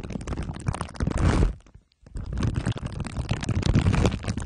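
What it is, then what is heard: Foil- and plastic-wrapped microphone rubbed with glue sticks. Glue sticks are rubbed over the sides and top of a microphone head wrapped in crumpled aluminium foil under clear plastic wrap. This produces dense, bassy crinkling and scraping full of quick crackles, with a louder rising rub near the start. A brief near-silent gap follows before the rubbing resumes.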